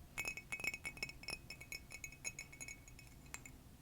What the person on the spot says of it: This one has a lovely high-pitched sound as well